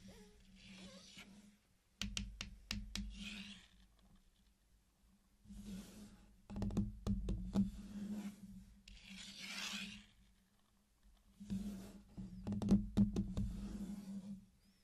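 Fingertips tap and rub the hard candy shells at the edges of a flat circular mosaic made of small solid candy-coated chocolate pieces. Bursts of quick, sharp clicking taps alternate with soft, bright scratchy rubbing, all heard quietly and up close.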